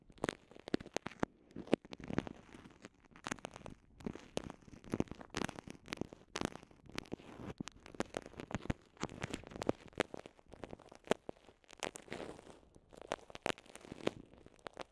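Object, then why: Soft vinyl zip pouch. Long nails and fingertips squeeze and crinkle a small, transparent, soft vinyl zip pouch with microphones inside. The result is a dense, steady stream of quiet crackling and crinkling, with many sharp, bright ticks over a soft, low rustle. The ticks die away almost at once.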